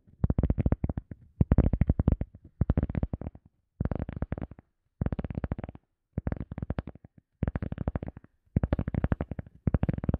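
Fingertips tap and scratch a round, solid, soft teal EVA foam sponge disc held behind the mic. The sound comes as eight bursts of quick, dull, low thumping taps separated by brief silences. Each tap is muffled and dies away almost instantly, with no ring.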